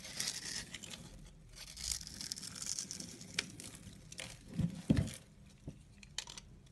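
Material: Soap.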